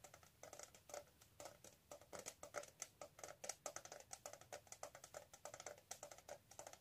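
Long manicured nails tap and scratch the lid and sides of a hollow, flat rectangular gold-colored metal tin with an embossed lid, held in both hands. The result is a quiet, fast, uneven run of crisp clicking taps with a hollow midrange knock and bright scratchy edges. Each tap dies away almost instantly, with almost no low end.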